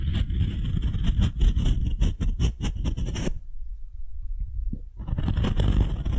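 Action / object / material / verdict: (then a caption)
scrape / beech-wood ball rubbed with a wooden spoon and fingernails / wood / none. A solid, light beech-wood ball about the size of a fist is held in one hand and scraped and rubbed with the bowl of a wooden spoon, with long nails also touching it. Quick, uneven, dry strokes form a dense scratching texture with a bright hiss. They stop briefly, leaving a low, quiet rumble, then resume.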